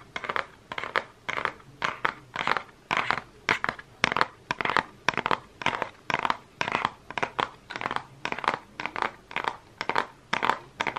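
Fingernails tap and scratch the front of a Focallure makeup palette in a holographic cardboard case, held up close. The result is a steady run of short, dry, crinkly taps and scrapes in the upper-mid range, each one brief with no ringing.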